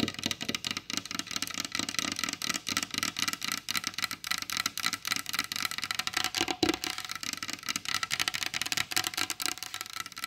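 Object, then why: Varnished wooden tabletop. Long blue acrylic nails tap fast on a solid, glossy, varnished wooden tabletop, both hands kept in a steady position throughout. The result is a continuous stream of quick, bright, clicky taps that die away almost instantly, with little low-end body.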